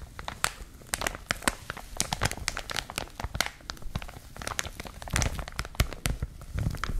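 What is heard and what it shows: A clear plastic packaging wrapper is crumpled and crinkled in both hands with long manicured nails. Dense crackling and sharp, bright crinkles burst over a low rustling bed for about seven seconds, with louder crunches toward the end.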